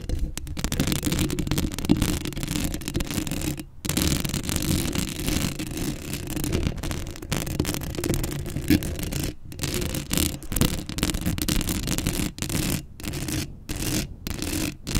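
Long acrylic nails scratch the hollow metal mesh grille of a black Blue Yeti microphone, right up close. The result is a dense, continuous rasping scrape, heavy in low rumble with a bright hiss on top. It is broken by a few brief silent pauses.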